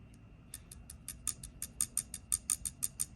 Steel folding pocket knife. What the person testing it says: If I shake it, I can hear the blade kind of bounce.